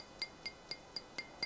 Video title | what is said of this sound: HARIO ALPHA DRIPPER! DRIPPER INOVASI BARU DARI HARIO TAIWAN | salah satu keramik yang padat banget sehingga kalau kita ketok kedengaran